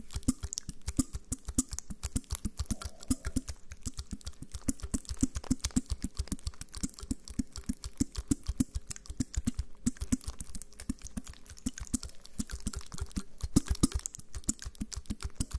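Fingertips press and tap the bubbles of a small, flat, clear plastic blister pack with foil backing and pills inside, held close to the mic. The result is a fast, uneven run of short, dry clicks with soft low thumps and very little ring, continuing for the whole clip.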